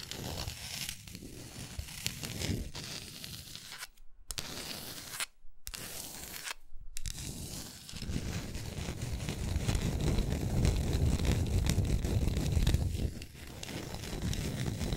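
Long nails scratch and tap the flat back of a solid wooden art block plaque, held in the hand, near its label. The result is a dry, papery scraping with quick light taps, broken by three brief silences in the first half. After about eight seconds the scratching turns louder and denser, with a heavy low-end rumble.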